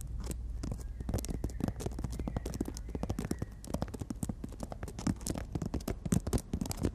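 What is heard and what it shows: Long nails tap rapidly on the surface of a horizontal emery board nail file. The result is a quick, uneven stream of short, dry clicks, each dying away almost at once, with a soft low thud under each one and only faint brightness on top.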